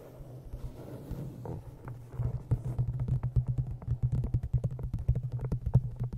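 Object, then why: Cloth-bound hardcover book. An old green cloth-bound hardcover book, held in front of a microphone, is tapped on its cover and top edge with long nails. The taps are short, dull, low thuds with a steady low hum beneath them. They start soft and sparse, then turn into a quicker, louder run of crisp clicks in the second half.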